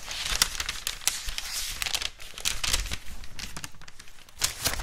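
A thin white paper wrapping sheet with a red floral print is held in both hands and rubbed and crinkled with the fingertips and nails. A continuous bright, papery crinkle and rustle is broken by sharp, quick crackles, with louder bursts near the start and again toward the end.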